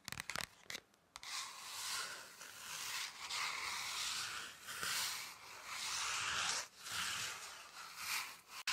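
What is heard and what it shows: Hands rub and scratch the surface of a thin, flat red paper or card pocket folder. A few quick dry taps open the clip, then a steady, bright, papery rubbing runs on with brief pauses near the start and about two-thirds of the way through.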